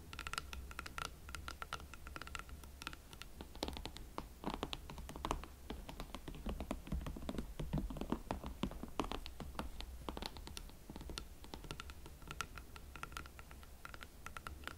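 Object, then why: Leather platform boots. A pair of hot pink leather Valentino Club platform boots is held from behind while long nails scratch and tap their heels and platforms. Quiet, steady scratching mixes with rapid, dry taps over a low background hum, each tap dying away almost at once.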